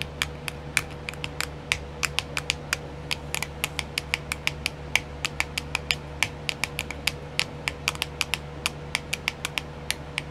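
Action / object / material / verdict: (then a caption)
tap / clear plastic compartment wheel / plastic / none. Long nails tap fast on a small, round, hollow, clear plastic compartment wheel filled with nail decals. About 48 sharp, bright clicks come in a steady, quick run, each dying away almost at once with a hard plastic tick around 2.3 kHz. A faint steady hum sits underneath throughout.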